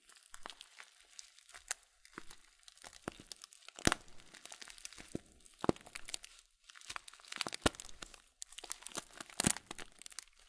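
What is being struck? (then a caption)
Plastic cereal bag of oat flakes. A full blue Kölln plastic cereal bag of oat flakes with a folded top is slowly squeezed and crinkled with fingers and thumbs. It makes quiet, irregular crinkling and crunching with bright, sharp crackles, and a few louder snaps stand out among softer rustles and brief pauses.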